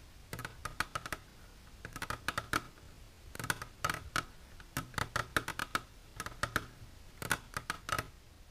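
Long natural nails with silver polish tap on a plastic container for ASMR, giving about 30 quick, sharp clicks in bursts separated by short pauses. Each tap is brief, with a slight plastic tone near 1.3 kHz and a bright, crisp edge over a quiet background.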